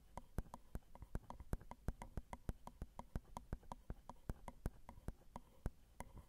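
Long decorated acrylic nails tap the metal grilles of a Zoom recorder's XY microphone, whose small hollow metal mesh capsules sit on a plastic and metal housing. About 34 quick, dry clicks come in a steady irregular patter, each decaying almost instantly with a faint hollow ring around 1 kHz over a low rumble.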